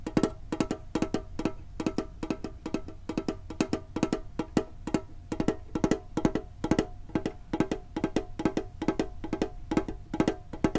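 Fingertips tap quickly on a hollow red and blue printed metal Pokemon card tin with a lid. About fifty short, dry, hollow knocks with a mid tone near 316 Hz come in uneven rapid clusters, each dying away almost at once.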